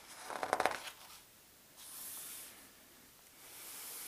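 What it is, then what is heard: Paper atlas pages being rubbed and turned. A hand turns a thin, glossy map page of a large open world atlas slowly, giving a short crinkly rustle, then fingertips and palm rub across the paper. Two soft, airy, high-pitched swishes of rubbing follow in a quiet space.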